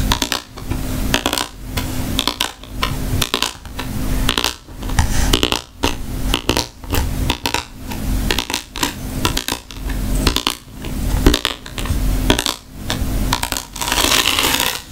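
Long nails tap and scratch across the woven surface of a hollow, round rattan wicker bag about 20 cm across with a leather strap. Dry, crackly scraping bursts come roughly once a second, each with a dull, low knock under a bright rustle that dies away almost at once.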